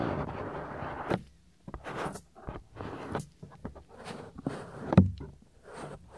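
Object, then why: Silicone ear of a binaural microphone. Fingers pinch and rub the ear flap of a soft, solid silicone ear on a 3Dio binaural microphone. Close, muffled rubbing and scratching comes in short bursts with brief gaps, mostly low and boomy, with one sharper, louder rub near the five-second mark.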